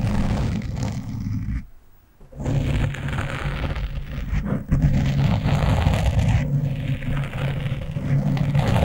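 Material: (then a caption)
Foam. Fingernails scratch the top of a black foam windscreen on a microphone with both hands, giving a dense, low, rumbling scrape with rustling texture. The scratching runs almost continuously, dropping out briefly near the two-second mark before resuming at a similar level.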